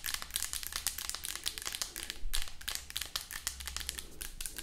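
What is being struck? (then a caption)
Plastic lotion bottle. Long acrylic nails tap fast on the body of a hollow white plastic lotion bottle, producing a rapid, uneven stream of bright, crisp clicks that die away almost instantly. A steady low hum runs beneath the tapping throughout.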